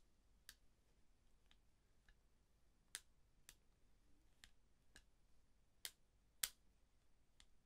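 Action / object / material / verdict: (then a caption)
flick / eyeglasses frame hinges / unknown / none. Thin-framed eyeglasses with a dark frame and lenses are held in both hands while the fingertips flex the temple arms at the hinges. They give sparse, irregular, bright, dry clicks and ticks over a quiet background, with the loudest snap near the end.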